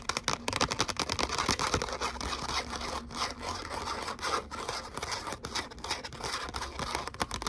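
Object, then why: Glitter cardstock letter cutout. Long fingernails scratch and tap a thin gold glitter cardstock letter "O" cutout held up in the air. The result is a dense run of dry, crackly scrapes and quick clicking taps with a bright, papery texture and almost no ring.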